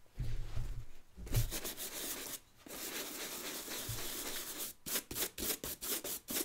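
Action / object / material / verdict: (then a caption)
scrape / leather work boot brushed with a bristle brush / leather / none. A wooden-backed bristle brush is stroked over the leather upper and toe of an empty brown leather work boot with a rubber sole, held in the hand. Long, bright, scratchy brushing strokes with some low handling thumps give way to a quick series of short, separate brush strokes at the end.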